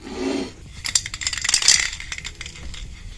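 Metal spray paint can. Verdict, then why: Empty. A nearly empty metal spray paint can, used while repainting furniture, is shaken and gives a bright, clicking rattle with no liquid slosh. The quick, sharp ticks of the mixing ball bunch together in the middle of the clip, and the can sounds empty.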